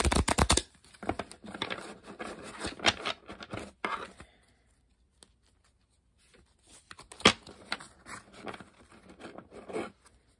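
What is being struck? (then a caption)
Deck of coated paper playing cards. A deck of coated paper Uno playing cards is held above a table while fingertips bend and riffle the card edges. A fast, loud flutter of cards opens the clip, followed by crisp, papery riffling and crinkling with bright edges. After a near-silent pause, a sharp snap starts a second, softer round of riffling.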